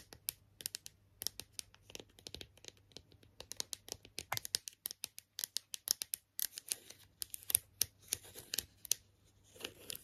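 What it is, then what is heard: Plastic toy figure, nail tapping and scratching. Long nails tap and scratch the face and leaves of a hand-sized, hollow, hard red and green plastic strawberry character toy. Dozens of quiet, crisp clicks and short scratches come in quick, uneven bursts, bright and dry with almost no ring. A faint low hum runs beneath them for the first half.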